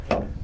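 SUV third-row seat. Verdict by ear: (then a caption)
Solid. A knock on the other third-row seat position of an Infiniti QX80 SUV gives a short, dull thud centered around 570 Hz that fades within about a tenth of a second. It sounds a little more solid than the other side, although the rubber stoppers at this seat are missing.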